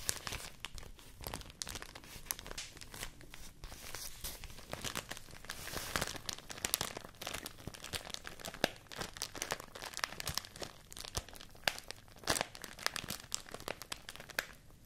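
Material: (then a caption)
Rice paper. A stack of folded white rice paper, held in both hands, is crinkled and scratched with long nails. Dense, bright crackling and papery scratches run steadily throughout, with frequent sharp crinkle peaks that die away almost instantly.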